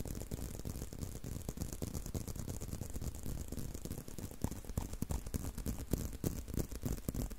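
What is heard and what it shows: A brown leather belt strap is held in both hands while fingertips and nails scratch and tap along it. The result is a quiet, steady stream of quick, dry taps and rustling scratches with a dull, low-heavy tone, plus a faint bright hiss. Each tap dies away almost instantly.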